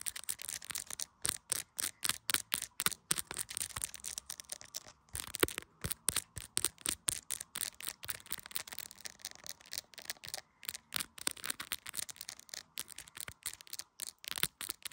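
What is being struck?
Smartphone in a clear plastic case.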